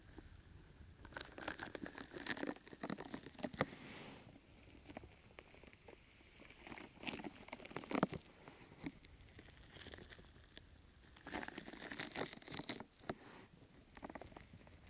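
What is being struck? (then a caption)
Open-weave foam rubber grip mat. A brown open-weave sticky foam rubber grip mat draped over a microphone is scratched with long nails and squeezed at the sides by hands. It makes dense crackling, crinkling and tearing-like bursts with bright texture, coming in clusters separated by quieter stretches of soft rustle.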